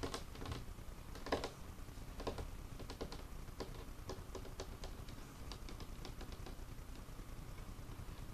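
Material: Wood.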